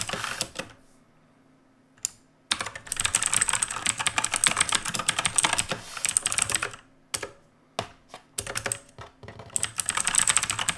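Fingertips of both hands type on a black mechanical keyboard with a metal top plate and plastic keycaps. Rapid, bright clicking and clacking keystrokes come in dense, uneven bursts, separated by short silent pauses.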